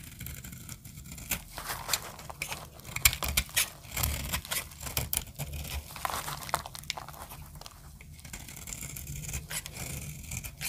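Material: Soap.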